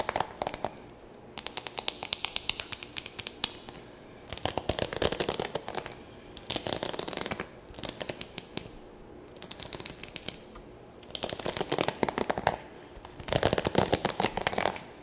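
A red and pink plastic paddle hairbrush with plastic bristles is held by the handle close to the mic while long nails scratch and flick the bristles. Bursts of rapid, dry, bright clicks and crackling ticks come in clusters, separated by brief quieter pauses.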